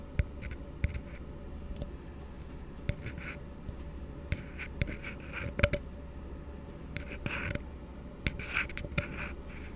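An empty, hollow blue plastic tumbler is held upside down and scratched and tapped with fingertips. A steady, soft scratching texture with a low hum runs throughout, broken by sharp, dry taps that die away almost instantly and brighter scraping bursts near the middle and end.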